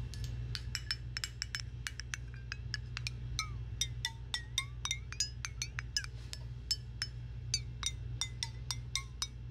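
A small, clear, hollow glass jar, partly hidden behind a microphone, is tapped and clinked with long nails in a quick, uneven run of about three dozen light strikes. Each tap is a bright, high glassy clink with short pitched chirps that die away almost at once, over a steady low hum.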